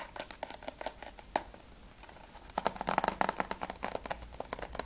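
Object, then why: Plastic game case. Fingertips and nails quickly tap and scratch the surface and edge of a closed plastic PS3 game case for Spec Ops as it is turned from its back to its edge to its front. Dry, clicky taps with a midrange hollow plastic tone come in fast bursts, with a quieter stretch of soft scratching before a denser, louder run of tapping.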